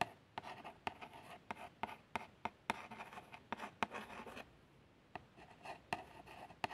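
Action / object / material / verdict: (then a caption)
scrape / small printed cardboard box / cardboard / none. A long fingernail traces the printed words on a small, hollow printed cardboard box of plasters. Soft, dry scratching strokes with a hollow papery tone centred near 900 Hz are broken by repeated sharp, bright ticks. Each tick dies away almost at once, with a short quiet gap before the tracing resumes.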